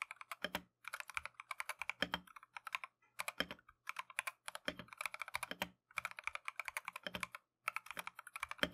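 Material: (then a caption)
Plastic. A compact Keychron V1 mechanical keyboard with Tangerine switches and green and white Matcha plastic keycaps is typed continuously with gloved fingertips. Rapid bursts of short, crisp, bright keystroke clacks come in runs separated by brief pauses, with occasional deeper thuds under some strokes.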